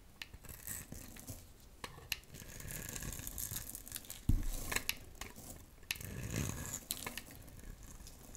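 A solid, dry, pale pink rectangular soap bar held in the hand is scraped with a metal utility knife blade, sending fine shavings falling. Dry, crumbly scraping and crinkly tearing continue throughout, with a bright hiss and low rumbling. The sharpest, loudest crunch comes at about 4.3 seconds, followed by another strong scraping pass around 6.4 seconds.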